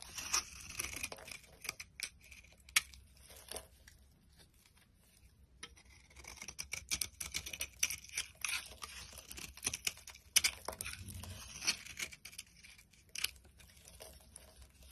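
A box cutter blade shaves layered flakes off a solid cream soap bar held in the hand. The result is a dense run of short, dry, bright scraping and crackling cuts with brief quiet gaps between strokes.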